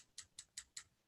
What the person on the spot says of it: this one is aluminum you can probably hear it if I tap it with these tines